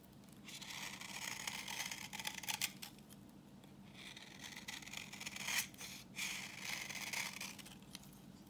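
A palm-sized, solid rectangular bar of dry, translucent orange vintage soap is held in hand and shaved with a utility knife blade, with crumbs falling. Two long passes of bright, crisp scraping and cutting are heard, from about 0.5 to 2.7 seconds and from 4 to 8 seconds. The second pass is briefly interrupted by a sharper snap near 5.6 seconds, and a faint low hum runs underneath.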